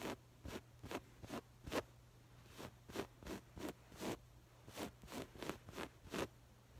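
Long acrylic nails on both hands grip and scratch a soft stuffed cushion covered in textured, woven patterned fabric, bunching it up. The result is a quiet series of short, bright, raspy scratches, each like a quick zip, separated by brief pauses over a faint steady low hum.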